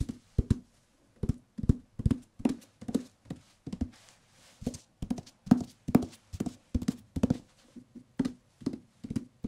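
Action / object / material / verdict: tap / paperback book with paper cover / paper / none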